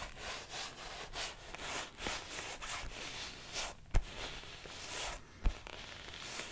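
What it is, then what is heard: Leather baseball glove being rubbed. A large, open, hollow orange-brown leather baseball glove is held close and rubbed with fingertips and the palm, giving a steady series of soft, breathy scraping strokes. Two sharp taps cut through the rubbing near the end.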